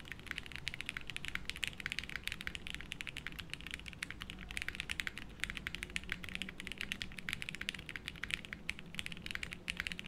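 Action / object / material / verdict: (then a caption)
tap / mechanical keyboard with plastic keycaps / plastic / none. A 60% mechanical keyboard with beige doubleshot plastic keycaps, a light case and no plate, sitting on a felt desk mat, is typed on continuously with the fingertips of both hands. The result is a steady, rapid stream of short, bright plastic clicks with a soft low thud beneath each keystroke, and every strike dies away almost instantly.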